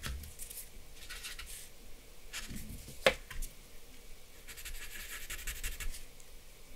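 A grey blending stump held in the fingers rubs and scratches across a flat sheet of drawing paper bearing a charcoal portrait, which lies on a wooden desk. Soft, papery strokes come in bursts of bright, airy scratching over a quiet low rumble, with one sharper tick near the middle.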